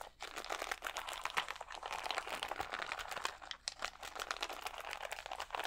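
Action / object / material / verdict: scrape / plastic sheet of acrylic rhinestones / plastic / none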